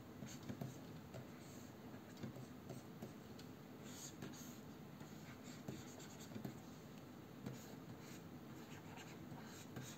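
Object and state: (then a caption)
Stylus scratching on a matte glass pen display. A plastic-nibbed stylus drags and taps across the matte anti-glare glass surface of a large, solid Wacom Cintiq 22 pen display while drawing. The result is a quiet, continuous fine scratching stroke with soft low rubbing and scattered small ticks.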